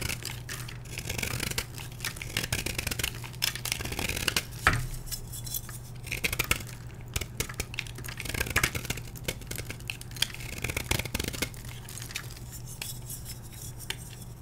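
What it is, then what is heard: Gym chalk block being carved. A solid, dyed blue gym chalk block held in the hand is scratched and carved with a metal blade, and chalk flakes break off. Dry, bright scraping and crisp crumbly snaps come in uneven bursts over a steady low hum.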